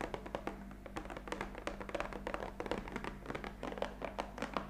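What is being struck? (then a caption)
Cardboard box of coffee capsules. Long acrylic fingernails tap rapidly on the top face of a rectangular black printed cardboard box of Bristot coffee capsules, lying flat on a cloth-covered table; the box is hollow and likely filled with capsules. Each tap gives a quick, dry, hollow click that dies away almost at once, in an irregular stream over a steady low hum.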